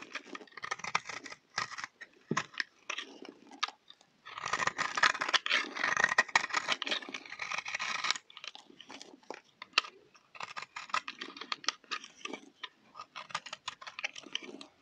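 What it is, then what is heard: Dry, crumbly soap bar. A utility knife blade scrapes a solid, round, dry orange soap bar held in the hand, shaving off crumbly pieces. Short, dry, crisp scrapes and crunches repeat irregularly, with a longer run of dense, bright scraping in the middle.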